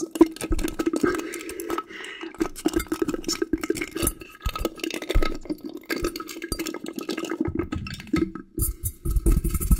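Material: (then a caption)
Glass. A large, clear, hollow, empty glass bowl or dome is held up and tapped and clinked with a small yellow item. Rapid, uneven clinks ring over a steady hum-like tone near 330 Hz, with brief brighter ticks scattered throughout.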